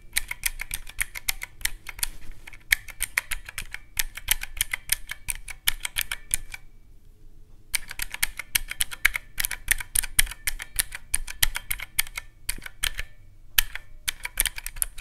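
A teal plastic mechanical-key calculator with round black keycaps is pressed by a whole hand in fast bursts of sharp, bright clicks. The clicks come in dense runs with short pauses and one longer silent gap near the middle, over a steady low hum.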